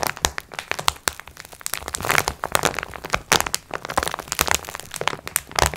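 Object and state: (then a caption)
Plastic-wrapped pack of sponge cloths. Long red nails tap and scratch the plastic wrap of a multipack of sponge cloths lying flat on a table, using both hands. Rapid, dry crinkling clicks and scratchy rustles come in dense bursts, bright and sharp with almost no ring.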